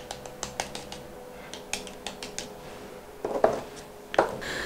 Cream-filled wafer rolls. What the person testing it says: постукивают слышно что они остаются хрустящими